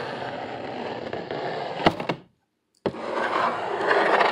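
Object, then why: Corrugated cardboard sheet. Both hands scratch hard with their fingernails across an upright brown corrugated cardboard sheet with visible ridges, making a dense, rough scraping rasp. A couple of sharp louder strikes cut through before the sound drops to silence for about half a second. A sudden hit starts the scratching again, and it builds steadily louder and brighter to the end.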